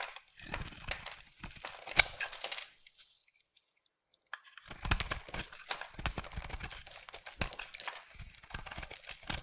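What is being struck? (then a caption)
Bar of soap cut with a knife blade. A utility knife blade shaves and scrapes a solid rectangular purple bar of soap held in the hand, sending curls falling off. Dense, crisp, bright scraping and crinkling bursts stop for a silent pause of about a second and a half, then resume for the rest of the clip.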